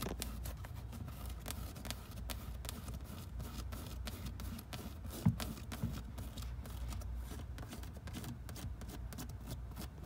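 Fingertips and nails scratch and tap on the knit fabric upper near the toe of a black Adidas NMD sneaker with a rubber sole, the hollow shoe resting on a wooden shelf. The result is a quiet, steady, muffled rustle of dense quick scratches and soft taps, heavy in the low end. One sharper, louder tap stands out about halfway through.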